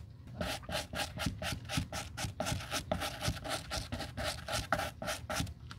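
A stiff white-bristled suede brush rubs briskly over the toe and sides of a black suede leather Gucci loafer held in gloved hands. The result is a steady run of quick, bristly scratching strokes, about two per second, each a soft burst of bright hiss over a low rustle.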